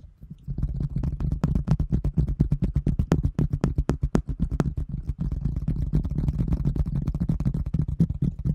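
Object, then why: Thin translucent plastic container lid. A large, round, thin translucent plastic container lid, held in both hands, is tapped and scratched with long fingernails. Rapid, uneven taps give hollow, low, drumming thuds, with short, bright clicks on top. Softer scratchy stretches fill the gaps between the bursts of tapping.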